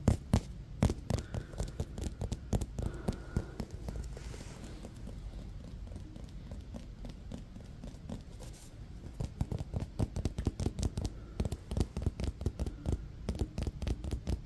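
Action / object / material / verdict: tap / synthetic leather baseball / synthetic leather / none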